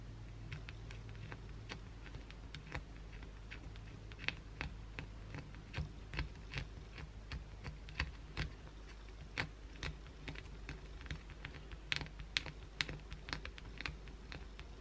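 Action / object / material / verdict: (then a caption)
scrape / solid bar of soap / soap / none. Long pointed blue acrylic nails scratch a solid white oval bar of soap held in one hand. Quick, irregular, sharp scratchy ticks with bright crisp edges come over a steady low hum.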